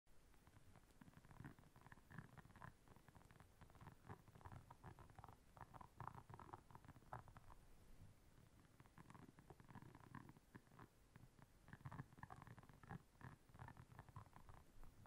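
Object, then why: Silicone scrubber pad with soft bristles. Long nails scratch and tap across the soft bristles of a solid, round, flat blue silicone scrubber pad lying on black fur. The result is quiet, dense, rumbly scratching, mostly low in tone, with repeated bursts of brighter bristle rasping and short, dry taps that fade almost instantly.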